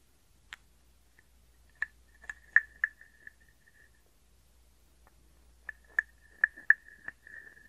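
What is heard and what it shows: A small hollow carved wooden frog guiro has its ridged back scraped with a wooden stick. It gives short, dry clicks and rasps with a hollow woody tone near 1.7 kHz, in irregular bursts separated by a quiet pause in the middle. Each click dies away almost instantly.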